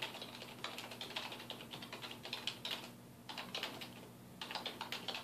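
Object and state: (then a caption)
Plastic computer keyboard being typed on. Fingertips of both hands type on a black plastic computer keyboard resting on a wooden desk, producing rapid, bright key taps. The clicks come in quick bursts separated by short lulls, each one crisp and dying away almost instantly with little low end.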